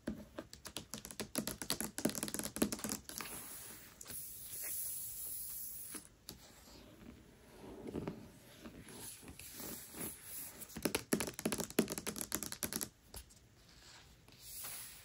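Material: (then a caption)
Paper. Long nails tap quickly across the glossy paper dust jacket of a large, solid hardcover book lying flat, giving rapid bursts of dry, crisp clicks. Between the tapping bursts, the nails scratch the cover with a soft, papery hiss that swells and fades before the quick tapping returns.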